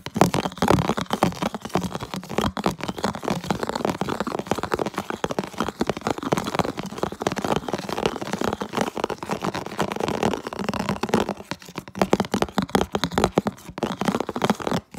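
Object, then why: Plastic food container. A medium, hollow, empty translucent red plastic food container is held close and scratched and tapped with fingertips and nails. The result is a fast, dense stream of crackly, crinkling scratches with a hollow midrange body and many short, dry taps. The sound thins out briefly near the end before resuming.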